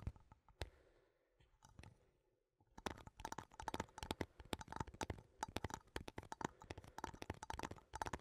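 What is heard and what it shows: A small cylindrical metal coffee tin is held sideways in both hands and tapped and scratched with fingertips and nails along its labelled side. A few scattered taps and soft scratching come first, then a quiet pause before a dense run of rapid, dry, clicky taps that continues to the end. Each tap dies away almost instantly with little ring.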